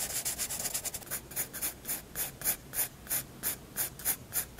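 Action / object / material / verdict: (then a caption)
scrape / graphite pencil on a paper sketchbook page / paper / none. A graphite pencil tip scratches hatching strokes across a white paper sketchbook page. A rapid flurry of dry, bright scratches settles into a steady rhythm of separate strokes, each a short, crisp hiss that stops almost at once.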